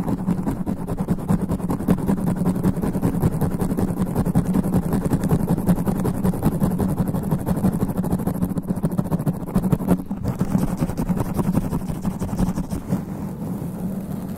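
Extra-long black nails rapidly and aggressively scratch a sponge foam microphone windscreen gripped in both hands. The result is a dense, continuous low rumble of rough, crackling scrapes, booming and muffled, with little high-end content and a brief dip around the ten-second mark.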